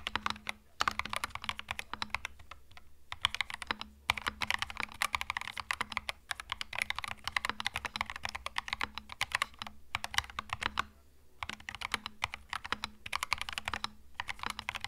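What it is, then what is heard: Mechanical keyboard with plastic keycaps. Both hands type continuously with their fingertips on a compact 65% Epomaker TH66 mechanical keyboard with a hollow case, cream plastic keycaps with red Mario-style legends, resting on a felt desk mat. The result is a dense, steady stream of bright, sharp plastic key clicks with very short decay, broken by a few brief pauses, over a faint low hum.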